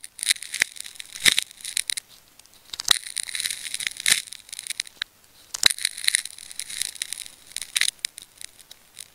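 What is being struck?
Wound plastic adhesive tape ball.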